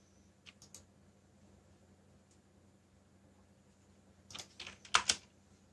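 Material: Plastic.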